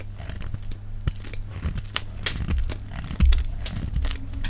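A hand-sized, solid white oval bar of dry soap is held in the hand and shaved with a metal utility-knife blade in scraping cuts, white flakes falling away, sped up to double speed. Quick, irregular dry scrapes and crisp crackling shaves sound over a steady low hum, with a louder, heavier scrape near the end.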